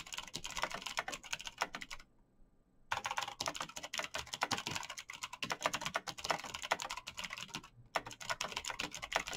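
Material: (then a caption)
Plastic. Fingertips in fingerless knit gloves type fast on a black plastic mechanical gaming keyboard with clicky green switches, backlit keys and a hollow case. Dense, bright clicking taps run in quick bursts, broken by a near-silent pause around two seconds in and a brief gap near the end.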